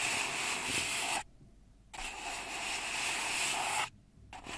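Long red nails rub and scrape along the side of an empty, hollow brown kraft paper cup held in both hands. Two long bursts of bright, hissy, scratchy friction with almost no low end are separated by a short silence, and a third pass begins just before the clip ends.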